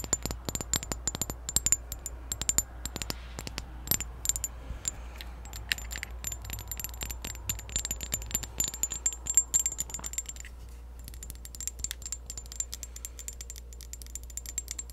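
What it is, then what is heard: Glass perfume bottle. Long acrylic nails rapidly tap a clear glass perfume bottle that is held sideways and partly full. The quick, bright, clicky taps with faint high glassy ringing run throughout over a steady low hum. They pause briefly around the ten-second mark before resuming more softly.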